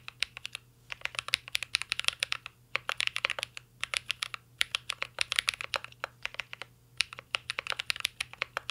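Fingertips type steadily on a mint-green Cyberboard R3 mechanical keyboard with a metal case and plastic keycaps. The keys give rapid, bright, sharp clacks that stop almost instantly, in bursts broken by brief pauses, over a faint low hum.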